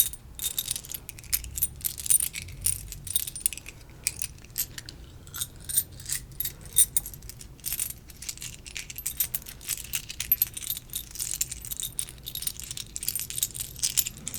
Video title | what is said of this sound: ~ASMR~ Monopoly Triggers 🎲♥️ (tapping, scratching, crinkle sounds) | it kind of sounds like jewelry